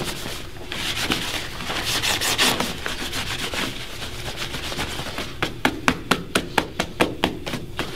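A black polished leather dress shoe, worn on a foot resting on a wooden shoe-shine stand, is rubbed and buffed briskly with a white cloth wrapped around the fingers. A steady, hissing rub runs for about five seconds, then turns into a rapid series of sharp, bright snapping strokes as the cloth is popped across the leather.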